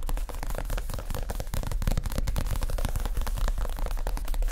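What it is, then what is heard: Padded leather chair cushion. Both hands tap fast with their fingertips on a soft, stuffed, padded white leather (possibly faux) chair seat cushion. The result is a dense, steady patter of dull, low thumps with very little brightness, blurring together with no clear gaps between strikes.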